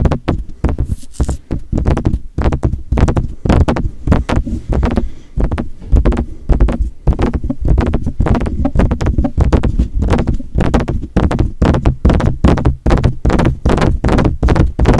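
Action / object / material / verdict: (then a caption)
tap / metal desktop condenser microphone, mesh grille and body / metal / none. Fingertips tap rapidly on the mesh grille and hollow metal body of a silver metal USB desktop condenser microphone. The result is a steady stream of dull, bassy thumps with short, close knocks and almost no high ring, continuing for the full fifteen seconds.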